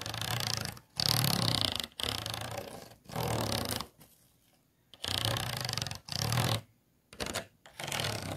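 Fingernails scratch an empty, hollow, disposable clear plastic food container with a textured base and ridged sides. The result is a series of separate, rough, raspy scratching strokes with a low buzzing undertone and bright hiss, broken by short pauses and one longer quiet gap.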